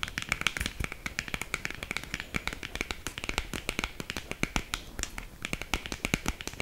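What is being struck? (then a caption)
Small cardboard box. Long green acrylic nails tap quickly on a small, hollow black cardboard lipstick box held close. Dense, sharp clicks arrive in a rapid, uneven stream with almost no ring. Each tap has a bright papery edge and a hollow resonance around 2.3 kHz.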